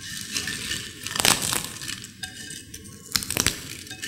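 Broken crisp potato chips in a white ceramic bowl are crushed and crumbled by long-nailed fingers. Dry, bright crackling and crunching runs throughout, with louder bursts of snapping around the middle and again near the end.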